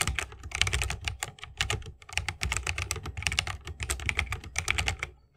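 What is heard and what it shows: Fingertips of both hands type continuously on a 60% mechanical keyboard with plastic keycaps and tactile Holy Panda switches, set in a bamboo wooden case. The result is a fast, steady stream of short, bright clicks over a low, muted thock from each keystroke, with almost no ring between presses.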